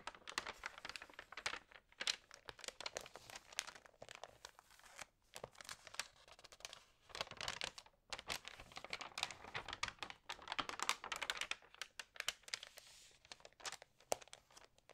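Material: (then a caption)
Glossy paper. Fingertips press and rub the glossy pages of an Allerhande paper magazine and turn them, making dense bursts of crisp, bright crinkling and papery rustling. The sound comes in uneven waves of many quick crackles, with short quiet gaps and almost no low end.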